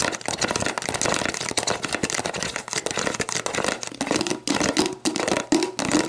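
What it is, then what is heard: Plastic drink bottle, scratched and tapped. Long black nails scratch and tap the ridged base of a clear, hollow, mostly empty plastic sports drink bottle, then move to the upright bottle. The result is a dense, bright, crackly stream of rapid scratches and clicks with short, dry decays. In the later part, a faint hollow tone near 330 Hz rings through.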